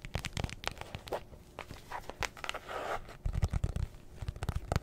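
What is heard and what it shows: Long nails scratch and tap along the top and face of a closed, hollow, rectangular black hard-shell zippered case, likely also scratching along the zipper edge. Crisp, dry scratches and quick taps come in irregular bursts, with a longer rasping scrape in the middle. Heavier, hollow low thumps follow near the end.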